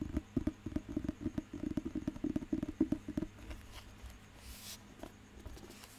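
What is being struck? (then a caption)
Paper dictionary book. Fingertips tap and scratch the glossy cover of a thick, solid paper dictionary held in the hand. A quick, uneven run of dull, low taps with a hollow knock fills the first three seconds. It then fades to soft, quiet scratching and a few faint taps.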